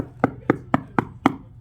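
Five knocks on a pool wall where a new plaster interior finish was applied over an old plaster finish, each giving a short, dull, hollow-sounding thud. The hollowness comes from the layers delaminating because the first finish was not chipped out below the top foot.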